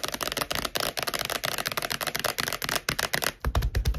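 Long acrylic nails tap and scratch quickly across the glossy card cover of a thick Sex and the City paperback, a solid paper book lying flat on a wooden table. The result is a fast, steady stream of dry, clicky taps with bright scratchy texture and very short decay. Near the end, the taps gain a deeper, fuller thump.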